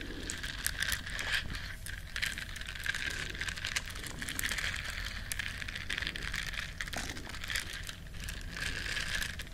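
Long nails scratch the bristles of a small, flat, solid yellow silicone scrubber shaped like a duck. The result is a steady, dense crackling scratch with many quick, soft strokes and a bright hiss centered near 1.7 kHz, over a low rumble underneath.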